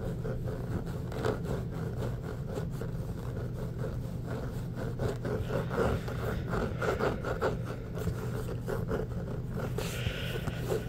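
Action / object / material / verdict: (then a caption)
scrape / inflated rubber basketball / rubber / none. An inflated, hollow orange Spalding rubber basketball is scratched and tapped with the fingertips, giving soft, dull taps and raspy scratching over a steady low rumble. The taps carry a hollow tone in the mid-range with little high-end brightness, and they die away quickly.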